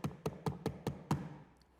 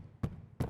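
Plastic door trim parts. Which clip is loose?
The first.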